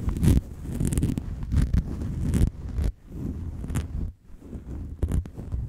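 Fingertips and long acrylic nails rub and scratch a round, fist-sized, fluffy grey-and-white synthetic fur windscreen that sits hollow over a microphone capsule. The result is close, crinkly rustling with a heavy low rumble that swells and fades in uneven bursts, with brief near-silent gaps between strokes.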